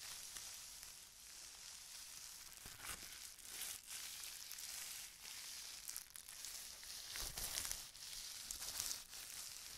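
A long strip of thin, clear plastic bubble wrap with air-filled bubbles is held in the hand and rubbed and crinkled between the fingers and palm. The result is a steady, bright, sizzling crinkle, broken by louder crackling bursts as the plastic is squeezed, with very little low end.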